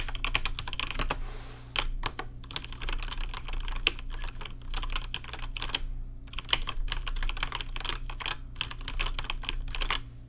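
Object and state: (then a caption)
Plastic mechanical keyboard. Fingertips type on a rainbow-lit plastic RGB mechanical keyboard with plastic keycaps, producing rapid, crisp, bright clicks that come in bursts with brief pauses. A steady low hum sits beneath the typing throughout.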